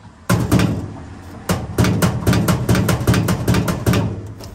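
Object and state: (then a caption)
Hollow-sounding stainless steel box panel. A hand knocks repeatedly on the panel of a 1.5 mm stainless steel water-tank box that replaces a car's rear seat in a camper conversion. The knocks give low, hollow, booming thuds with a short ring. The panel sounds hollow when sat on, so a wooden board of the same size will be glued on top.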